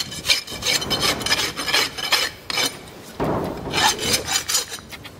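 A farrier draws a steel rasp by hand across the solid keratin horn wall of a live horse's hoof, which has a fitted metal shoe and rests on a hoof stand. The repeated, irregular filing strokes give a bright, scratchy rasp, with a short lull near the middle before the strokes resume.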